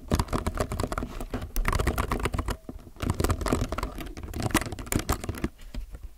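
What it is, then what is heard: Mechanical keyboard typing. Fingertips type quickly on a low-profile mechanical keyboard with white, grey, navy, red and yellow plastic keycaps, resting on a white desk between two microphones and heard close-up. The sound is a dense, steady patter of short, dry plastic clacks with a deep, thuddy body and little high-end sparkle. It eases briefly twice before picking back up.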